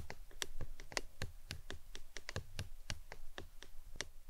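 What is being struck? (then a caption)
Plastic tumbler cup. A hollow, apparently empty printed plastic lemonade tumbler cup, standing upside down on its green lid, is tapped with long acrylic nails in a steady, uneven rhythm. Each tap is a short, dry click with a bright edge over a dull low knock, dying away almost instantly with no ring.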